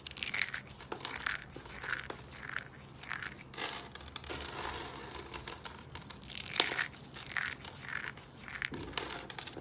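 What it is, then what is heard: Dry soap curls crushed. A pile of small blue, green and purple dry soap curls is grabbed and crushed with the fingertips on a wooden table. It makes dry, bright crunching and crinkling crackles in repeated bursts, with quick snaps that die away almost instantly.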